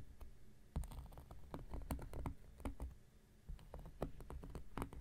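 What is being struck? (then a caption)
Cork coaster scratched with a knife blade. Quick picking scratches are made with an X-Acto knife blade on a round, flat, solid cork coaster. Rapid, irregular, dull ticks and scrapes are heard, each dying away almost instantly, with most of the energy low and soft, occasional sharper flicks reaching brighter.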